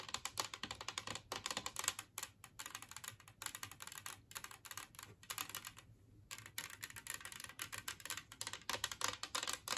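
A large glazed ceramic Christmas-tree-shaped serving plate, lying empty on a wooden table, is tapped rapidly with long nails. The result is a dense run of bright, short clicky taps with almost no ring, coming in quick bursts with a brief pause near the six-second mark.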